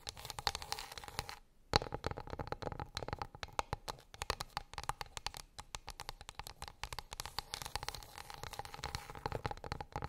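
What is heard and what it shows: A flat, light, solid wooden plate or board lying on a fluffy rug is tapped and scratched with long pink acrylic nails. Quick, dry clicks with a woody tone around 830 Hz mix with soft, continuous scratching and bright crackly edges. The taps stop briefly near the two-second mark before one sharp, louder tap.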